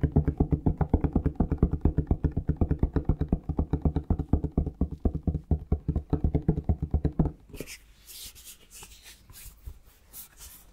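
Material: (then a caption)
Plastic. A plastic Palmolive shower gel bottle is tapped with the fingertips, giving quick, dull, low hollow thumps in a fast uneven rhythm for about seven seconds. The tapping then stops, leaving softer, brighter scratchy handling sounds.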